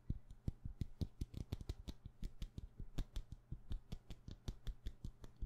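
Long painted nails tap fast on the side of a solid, palm-sized white wax pillar candle. About thirty quick, dry clicks land in an uneven rhythm, each with a dull low thud and a bright tick that dies out almost at once. A steady low hum runs underneath.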